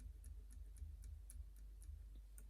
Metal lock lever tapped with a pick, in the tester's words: lovely click out the one at the back and again listen for the tapping